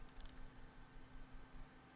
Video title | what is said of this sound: Rakk Talan vs Fantech XD3 Pro - Unfiltered Thoughts | Shaking it, no internal rattling.